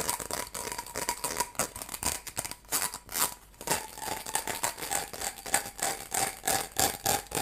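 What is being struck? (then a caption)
Ribbed plastic tube. Fingernails scratch along the ridges of a hollow, light blue ribbed plastic hose segment about a hand's length long. The result is a rapid, irregular run of bright ratcheting clicks and rasps, with a faint tone near 800 Hz running through the bursts.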